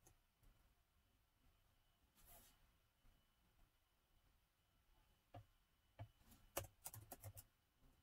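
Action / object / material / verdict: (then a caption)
tap / plastic laptop keyboard keys / plastic / none. Fingertips type sparsely on a plastic laptop keyboard set in a gold metal body, with quiet near-silence at first. About nine short, dry key taps follow, clustered mostly in the last few seconds, plus a brief soft rustle early on.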